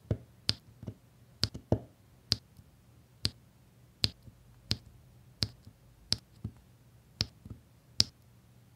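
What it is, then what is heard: Resin diamond painting drills tapped onto adhesive canvas. A plastic drill pen taps small solid resin diamond painting drills one by one, in rows, onto a flat adhesive canvas with a printed grid. Each placement makes a short, dry, bright click that dies away almost instantly, with small softer ticks in between. The clicks come at an unhurried, slightly uneven pace over a faint, steady low hum.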